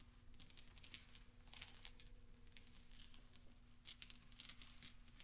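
Small solid steel pachinko balls resting on black velvet are pushed and clinked together by fingertips and nails, with gentle rolling and tapping. Soft, bright metallic clicks and ticks come in quick scattered clusters over a faint steady low hum, each click dying away almost at once.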